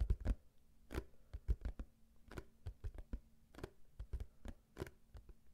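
A small, hollow, printed cardboard cube tissue box is held close to the mic and scratched and tapped with fingernails. The result is an uneven run of quick, dull, low taps that die away almost at once, with soft scratching between them.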